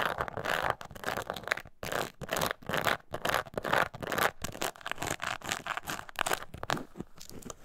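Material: Leather.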